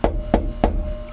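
Three taps on the thin sheet-metal side wall inside a Silverliner bus, next to the faint outline of a heavy frame member, each give a short, hollow knock that dies away quickly. The hollow sound shows there is no frame behind that spot.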